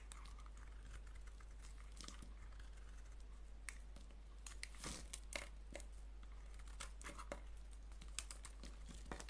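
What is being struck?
Soap bar.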